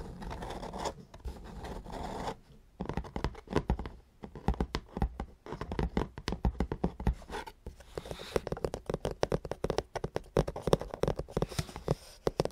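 Long painted nails scratch across the matte top of a black cardboard ZBOX subscription box lid on the hollow box, then the fingers grip the lid's edge. It opens with a steady, dull scraping that pauses, then turns into a quick run of short, dry scratches and taps with little ring. The sound is hollow and low-heavy, with almost no bright top.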